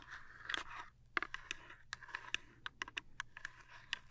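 Long nails scratch and scrape the flat sides and end of a small printed cardboard toothpaste box. A dry, papery scrape runs for the first second, then gives way to a quick run of crisp, bright scratches and ticks that stop dead with no ring.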